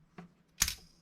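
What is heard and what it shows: Thin steel scissors, not resting on a surface plate, are struck by a rebound hardness tester's impact probe. A faint click is followed by one short, dull impact with a brief high metallic tinge. The unsupported scissors give a reading that cannot be measured.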